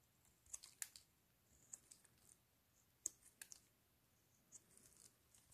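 A metal blade scrapes and cuts strips off the surface of a pale green solid soap bar held in black gloves, while a second soap bar lies untouched in the background. The scrapes come as quiet, crisp, bright scratchy clicks at an irregular pace. Each one stops dead with no ring.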